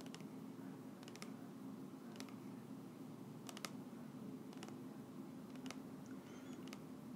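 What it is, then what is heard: Plastic oil bottle. A small clear plastic bottle with a white cap, partly filled with golden oil, is held in both hands and tapped with long nails. Soft, bright clicking taps come in irregular clusters over a steady low hum. Each tap dies away almost at once.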